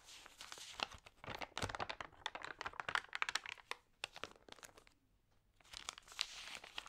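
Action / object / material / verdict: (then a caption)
scrape / glossy paper magazine pages / glossy paper / none. Long-nailed fingers rub and turn the wavy, damp pages of an open, water-sprayed glossy paper magazine. Dense, bright crinkling and crackling bursts come in quick clusters, with a brief quiet lull near the five-second mark before the crinkling resumes.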